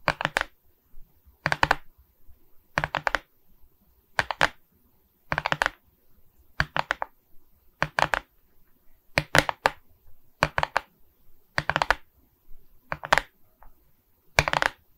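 Long nails tap across the resin rhinestone surface of a beaded diamond painting on a wooden frame. Short, bright, clicky taps arrive in quick clusters of a few hits each, separated by brief silences, with almost no ring after each tap.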